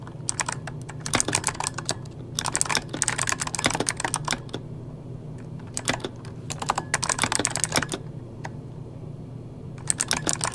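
Fingertips of both hands type rapidly on a full-size backlit mechanical computer keyboard with plastic keycaps. Quick bursts of bright, sharp clicks are separated by short pauses. A steady low hum sits underneath throughout.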